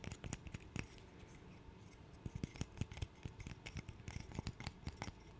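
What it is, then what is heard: Wooden burr puzzle. Fingernails scratch and tap the solid blocks of a small light-wood interlocking burr puzzle held close to the mic. Quiet, dry scratches and quick, sharp clicks come in uneven bursts, with no ring after each one. The sound has a soft low body and thin bright edges.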